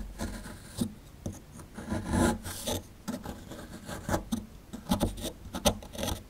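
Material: Plaster.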